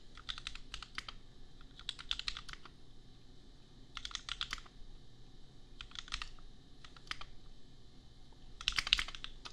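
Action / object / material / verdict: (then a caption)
tap / plastic mechanical keyboard / plastic / none. Fingertips type on a compact custom mechanical keyboard with red and pink plastic keycaps and Gateron Milky Yellow switches. Short bursts of quick, bright clacking keystrokes are separated by brief pauses over a low, steady background hum.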